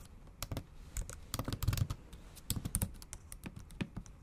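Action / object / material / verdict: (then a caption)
tap / keyboard with plastic keys / plastic / none. Long acrylic nails tap quickly across the black plastic keys of a MacBook Pro set in an aluminum body. The typing comes as a rapid, uneven run of short, dry clicks, each with a bright, sharp top over a dull low thump that dies away almost at once.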